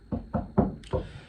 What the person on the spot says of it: there's a hollow wall on both sides. It's a new build.